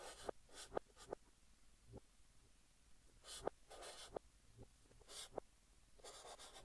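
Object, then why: Chalk stick on a chalkboard. Fingertips hold a blue chalk stick and write text on a large flat green chalkboard, heard in reverse. Bursts of bright scratchy strokes alternate with sharp, quick taps of the chalk against the board, over a quiet background.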